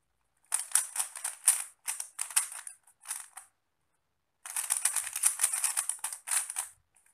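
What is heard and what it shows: Fingertips in both hands twist the layers of a small 3x3 plastic Rubik's cube with pastel tiles, making rapid, bright clicking and rattling turns. The clicks come in a burst of quick turns, a brief pause, then a second longer flurry. The sound is dry and high with almost no low end and very short decay.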